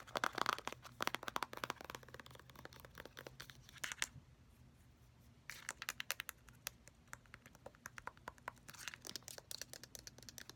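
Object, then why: Plastic cosmetic squeeze tube. Fingernails tap and scratch quickly on a filled orange plastic squeeze tube of face mask, working over both the body and the flip-cap end. The result is a dense run of crisp, dry clicks and scratchy, crinkly rasps with a bright edge. The sound stops briefly near the middle, then resumes with steady scratching and bursts of fast tapping.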